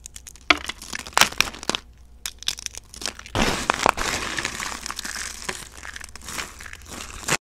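A pile of brittle, dry pink soap shavings with some speckled pieces is handled by hand. First, flakes are snapped between the fingertips in sharp, separate cracks. From about 3.3 seconds, handfuls are crushed in the palms, giving a steady, bright crunching and crinkling.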